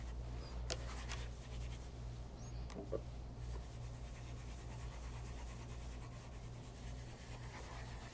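A casual bespoke light brown leather loafer, held upright with a wooden shoe tree inside, is rubbed with a white cloth wrapped over the fingertips. A soft, steady brushing rasp plays over a constant low hum, broken by a few faint, brief clicks.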